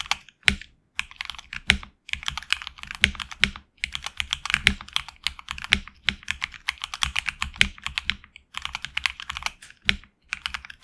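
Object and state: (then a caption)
Mechanical keyboard with plastic keycaps. Fingertips of both hands type on a HyperX Alloy Origins Core, a tenkeyless mechanical keyboard with HX Red switches, PBT plastic keycaps on an aluminum plate, and a hollow case. Dozens of quick, bright, clacky keystrokes come in rapid bursts separated by brief pauses. Each keystroke is crisp and short, with little low-end thump.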